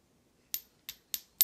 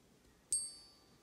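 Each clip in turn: First: non-gold metal, high short ping. Second: real gold coin.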